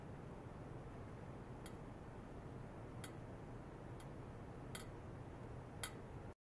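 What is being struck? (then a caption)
Stainless steel pipe. A thin metal rod, held vertically, repeatedly taps the top of a long hollow stainless steel pipe, about 1 m, lying horizontal on stands with white foam mesh sleeves and a clipped-on probe. Sparse, sharp, bright ticks with very short ring sound over a steady low rumbling background.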